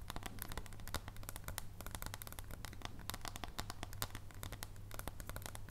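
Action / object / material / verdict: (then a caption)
tap / dark chocolate bar tapped with fingernails / chocolate / none. Long nails tap quickly along the thin edge of a solid dark chocolate bar held on its long edge above foil. The result is a dense run of short, sharp, dry clicks with bright crinkly tops that die out almost instantly, over a steady low hum.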